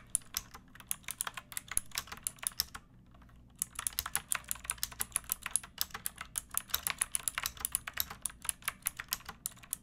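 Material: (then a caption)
Plastic. Long painted nails and fingertips type on a pink plastic mechanical keyboard with round backlit keycaps and a hollow body. Rapid, bright, clicky keystrokes with very short decay pause briefly around the three-second mark, then resume at a steady pace.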